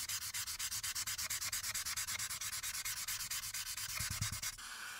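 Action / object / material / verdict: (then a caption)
scrape / marker tip on a printed paper sheet / paper / none. A light-blue marker tip rubs in quick back-and-forth strokes over a printed paper coloring sheet lying flat on a dark backing, filling in the background. About forty bright, scratchy strokes come in a fast, steady rhythm, with a few soft low thumps near the end. The rubbing then stops, leaving only a faint hiss.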